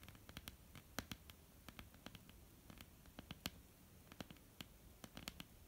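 Long polished nails of both hands tap and scratch a flat, solid, dark wooden tabletop. The result is a quiet, steady run of short, dry, bright clicks with no ring, separated by soft scratching and a low woody body under each tap.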